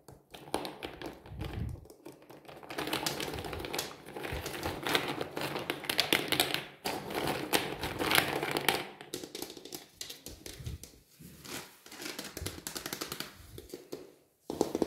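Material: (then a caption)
Nutshell. Fingertips tap and rummage through a green plastic crate filled with many whole walnuts in their hard, hollow-sounding shells. A dense, irregular stream of quick, dry clicks and knocks is heard as the shells clatter against each other, with a few brief pauses along the way.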